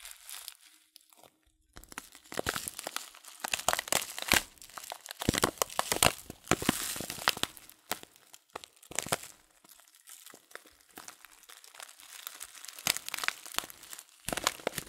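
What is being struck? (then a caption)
Paper tea packet with loose leaves. A filled paper loose-leaf tea packet is held horizontally while fingers squeeze and crinkle the paper. The result is dense, bright crinkling and crunching in irregular bursts with brief quiet gaps and almost no low end.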